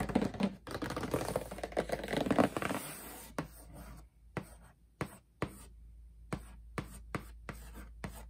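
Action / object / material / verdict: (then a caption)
tap / cardboard shoebox lid / cardboard / none. Hands handle the edges of a closed marble-print cardboard shoebox lid, making dense rubbing and scratching for about three seconds. A long-nailed fingertip then taps and scratches the printed cardboard top, giving about ten short, dry, separated taps with quick scratches between them.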